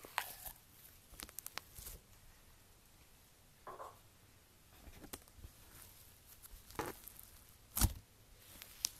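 Fingertips with long nails press and poke into a hand-sized blob of pastel crunchy iceberg slime (blue, pink, yellow and white) with a dried, crusty top layer, resting on a white table. Irregular short crackling bursts with bright, crisp edges break through a quiet background, the loudest sharp crunch coming near the end. The crust cracks under the pressure.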